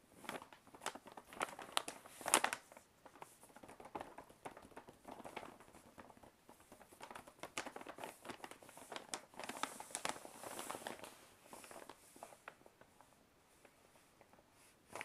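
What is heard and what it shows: Fingertips tap and scratch a large, hollow brown kraft paper shopping bag with a black printed band. The clip is quiet, with dense, crinkly papery taps and rasping scratches, a mid-range body and a bright, hissy edge, little low end, and a louder crackling burst early on.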